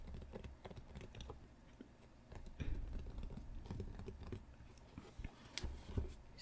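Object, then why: Cardboard card deck box. Long painted nails tap and drum on the lid of a small, hollow, rectangular printed cardboard Pokémon deck box with a fold-over flap, resting on a play mat. The result is a quiet run of quick, soft, dull taps with a low, hollow thump and very little ring, with a couple of slightly sharper clicks near the end.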